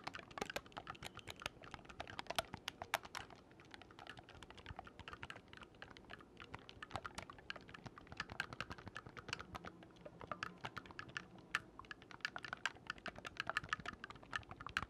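Fingertips rapidly press and release the silver-plated metal keys of a single oboe with a dark wooden body, held upright. The result is a fast, steady stream of dry, short clicks with no ring, centered in the midrange around 800 Hz with bright edges.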